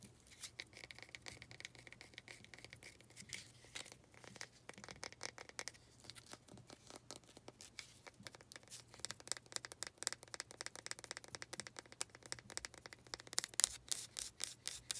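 Long nails scratch and tap the sides of a small, faceted, solid-looking wooden pot, producing a dense stream of quick, dry, bright clicks and scraping rasps. The taps pile up at about four per second with uneven spacing, while a low, steady hum sits underneath.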